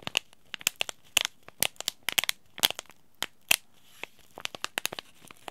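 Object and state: Paper-foil tea bag sachet being crinkled.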